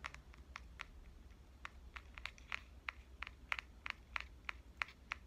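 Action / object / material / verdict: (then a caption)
tap / compact digital camera, metal and plastic body / metal and plastic / none. Fingernails tap the front and lens ring of a pink compact digital camera with a metal and plastic body. About 18 quick, bright clicks land at an uneven pace, each dying away almost instantly over a faint low background hum.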